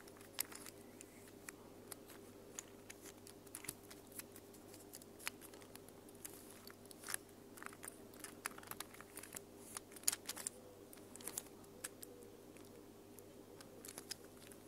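A small mint and pink plastic infinity cube fidget toy is folded and handled by fingers with long nails. It makes a quiet, irregular series of sharp, bright plastic clicks and light crinkly taps, each dying away almost instantly, over a faint steady low hum.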